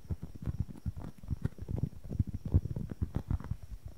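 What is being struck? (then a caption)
Polyurethane foam squishy toy. Fingernails tap fast on a small, solid white-and-red polyurethane foam squishy toy close to the mic. It makes a quick, uneven run of soft, dull, muffled thuds that are almost entirely low in pitch. Each tap dies away at once with no ring.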